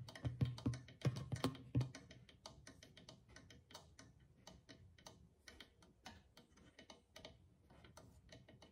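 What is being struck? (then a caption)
Clay drum with rawhide skin head. Fingertips tap the rawhide skin head of a single hollow clay drum, giving deep, warm thumps around 120 Hz with short ring. The hand then moves to the rim and taps it with the nails, making lighter, clicky ticks that continue at a slow, uneven pace.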